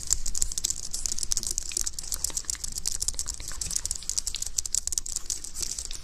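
A white, slim plastic computer keyboard with a hollow housing is typed on with fingertips, then held above the microphone in both hands while fingers tap and press on the keys and underside. A dense run of quick, dry, bright plastic clicks carries over a soft low rumble, each click dying almost instantly.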